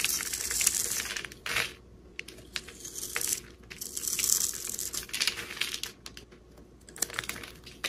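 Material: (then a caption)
Soap. A solid, hand-sized rectangular bar of green soap is held in the hand and scraped and carved with a metal utility-knife blade, shaving off crumbly flakes. Bright, crisp scraping and crackling come in dense bursts with short pauses between strokes, mostly high in tone with almost no low end.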